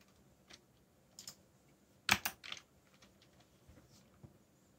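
Bare fingertips type on a backlit black mechanical keyboard with plastic Korean-labeled keycaps. Scattered short, bright, dry key clicks are heard, with a louder quick cluster of presses in the middle before the tapping thins out again.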